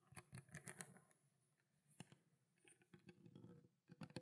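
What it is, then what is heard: Plastic water bottle, tapped with nails. A small clear plastic water bottle with a blue plastic cap, containing water, is tapped on its body and cap with long black nails. About sixteen quiet, quick taps each give a dull low knock with a faint bright click and almost no ring. The taps come in clusters around a brief lull.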